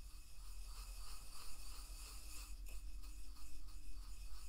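A wooden pestle grinds salt inside a carved, hollow wooden mortar held in one hand, using a rubbing, rasping motion. A continuous scratchy, gritty grinding is heard in uneven, repeated strokes over a low, steady rumble.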